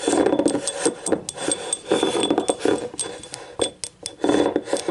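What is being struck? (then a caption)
Small ribbed ceramic cup. Long nails tap and scratch the rim and ribbed wall of a small yellow ribbed ceramic cup, hollow and empty, lying on its side. The result is a quick run of dry, clicky taps mixed with raspy scratching, with a hollow midrange tone and bright edges. Each tap fades almost immediately.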